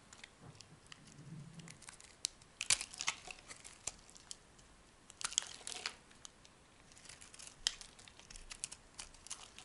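A solid yellow-green soap bar is sliced into strips with a metal knife blade while held in the hand. The result is quiet, bright crackling and crisp crunching in irregular bursts, with louder scraping clusters around the middle and a few sharp snaps, and almost no low end.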